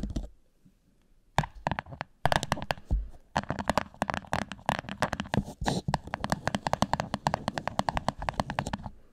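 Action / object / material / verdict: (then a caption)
tap / thin clear plastic cup / plastic / none. An empty, thin, hollow clear plastic cup turned upside down over a microphone is tapped and scratched on its sides and base by the long nails of both hands. After a near-silent opening, rapid clusters of sharp, hollow plastic clicks and scrapes follow in quick succession, with a boomy low thump beneath a mid-range ring and brief bright edges.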